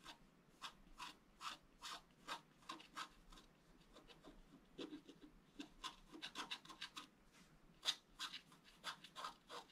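A wooden stylus rubs and scrapes across a flat black coated scratch art paper board in a steady series of short, separate strokes. Each stroke is a quiet, dry, bright scratch with little low end and almost no ring after it.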